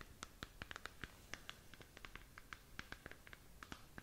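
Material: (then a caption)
Plastic. Long nails scratch across the textured surface of a glowing, hollow plastic galaxy moon lamp about 15 cm across, held up in the hand. About 22 quick, dry scratches and taps come in an irregular run, each with a bright, squeaky tone around 1.6 kHz. Each cuts off almost instantly over a faint low hiss.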